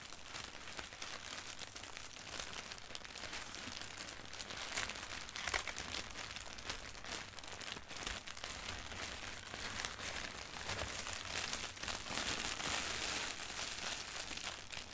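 Long nails scratch and rub across a flattened sheet of thin white tissue wrapping paper, printed with "Beauty is being human" doodles, lying on carpet. The result is a continuous, bright, crinkly scratching with dense irregular rustles, growing slightly louder toward the end.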